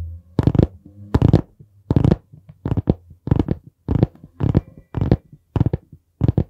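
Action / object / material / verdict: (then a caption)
tap / hardcover notebook board cover / cardboard / none. Fingertips tap on the board cover of a dark brown hardcover notebook held upright beside the microphone. The taps come as a steady series of soft, dull, low thumps that stop short with almost no ring, with quieter rustles between them.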